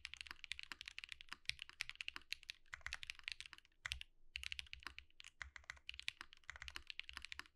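Fingertips of both hands type rapidly on a compact Think6.5 V2 mechanical keyboard with Zakus, white plastic keycaps and an underglow-lit case, resting on a desk mat. A dense, fast stream of short, bright clacks is heard, with a soft low thud beneath the keystrokes and brief pauses between bursts.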